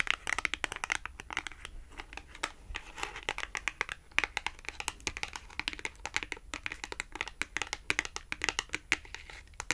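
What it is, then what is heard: Glossy cardboard clothing tag. Long acrylic nails tap rapidly and steadily on the flat face of a small, thin, red glossy-coated cardboard Tom and Jerry clothing tag. The taps are dry, crisp, bright clicks with a light crinkly edge, centered around 2.4 kHz, with almost no low end and no ring after each tap.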